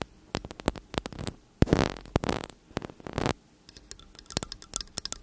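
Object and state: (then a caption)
Metal condenser microphone body. Long nails tap and scratch the metal caps and upper bodies of two slim cylindrical metal condenser microphones. Quick bursts of sharp, close clicks alternate with several longer scratchy, rasping strokes that have a heavy low thump in the middle. The taps resume as a scattered, bright patter toward the end.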